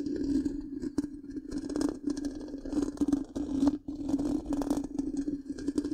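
Long pink-painted nails scratch the black, round, hollow metal mesh grille of a large microphone. The result is a continuous scratchy rasp over a steady low-mid tone, with bursts of crackle and bright hiss that swell and fade over six seconds.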